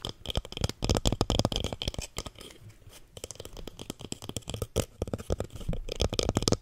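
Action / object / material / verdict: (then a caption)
scrape / small plastic plant pot filled with soil / plastic / none. A small lilac plastic plant pot, filled with soil and holding a succulent, is tapped and scratched on its side with fingernails. Quick, irregular clicky taps with a dull, hollow low thud mix with bright scratchy rasps, easing into a quieter scratching stretch before the tapping picks up again.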